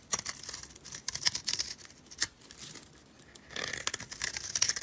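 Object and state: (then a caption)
Dry soap bar scraped with a blade. A utility blade scrapes thin, crumbly flakes off a solid rectangular purple dry soap bar held in a hand with red nails. The scraping is a bright, dry, crackly crunching made of quick sharp ticks with almost no low end and no ring. It eases into a quiet lull near the middle, then returns as a denser run of crinkly scraping.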